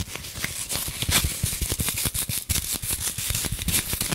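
Long nails tap, scratch and dig into a rectangular green floral foam block wrapped in clear plastic. Rapid dry crackling and scratchy taps sound in a dense stream, with bright crinkly hiss over soft low thuds.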